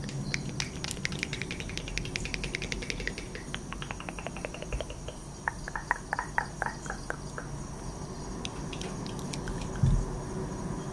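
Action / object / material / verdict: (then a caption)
shake / cardboard matchbox with wooden matches / cardboard / none. A small orange Tres Estrellas cardboard box of long kitchen matches, closed and apparently full, is held in both hands with long acrylic nails close to the microphone and shaken or tapped so the matches rattle inside. Rapid, dry, bright clicks come thickly at first, then thin into sparser, separate taps over a steady low rumble, with a duller bump near the end.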